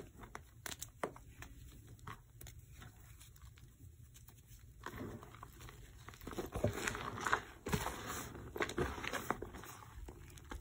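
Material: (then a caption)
Magnesium carbonate. Bare fingers rub, squeeze and sift fine, dry white gym chalk powder (magnesium carbonate) and its remaining small lumps in a black bowl. Soft, irregular crunching and crinkling pops sound over a quiet, gritty rustle. The texture grows busier and louder in the second half.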